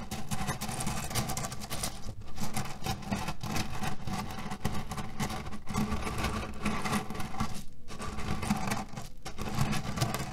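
Fingertips and nails press and scratch a cotton canvas pillow filled with cherry pits, producing a steady, dense crunching rattle as the pits shift and grind against each other. The sound is mostly low and muffled, with brief dips between bursts of rustling.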